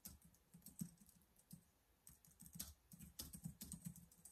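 Fingertips type rapidly on the keys of a black plastic laptop keyboard. The result is quiet, quick clicks in an uneven rhythm, with a low thud under each press and a short, bright top that dies away almost at once.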